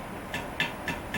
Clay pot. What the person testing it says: you tap it and it sounds like that there's probably a crack somewhere